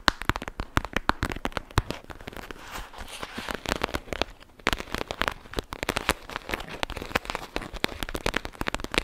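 A clear plastic pouch of gel beads is squeezed and crinkled by both hands with long nails. The result is a dense run of sharp, bright crackles and snaps over a soft, steady rustle. There is a brief quieter lull midway before the crinkling picks up again.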